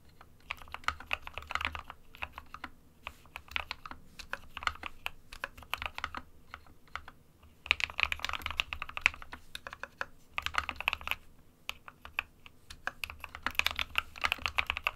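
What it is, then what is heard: Plastic mechanical keyboard. A compact 60% SK61 plastic mechanical keyboard with white and grey keycaps is typed on by the fingertips of both hands. Bursts of rapid, bright, clacky keystrokes come in uneven runs with short pauses between them. Each click is crisp and dies away almost instantly.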